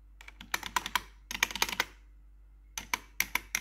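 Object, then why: Plastic computer keyboard keycaps. A single metal claw nail taps individual keycaps on a black plastic RGB computer keyboard. Quick, bright clicks come in three bursts with short pauses between them, each tap dying away almost at once. There is almost no low end.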